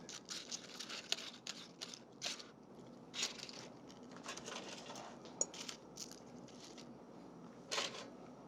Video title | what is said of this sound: Eddie Jackson's Red Ale Onion Rings and Jerk Ketchup - Food Network | you can hear how crispy they are